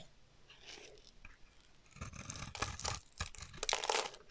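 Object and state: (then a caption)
Dry bar soap being carved. A solid, dry teal bar of soap held in the hand is carved and scraped with a metal utility knife blade, shaving off chunky chips. Soft, faint scraping gives way after about two seconds to louder, crunchy, tearing strokes with a bright, crisp edge.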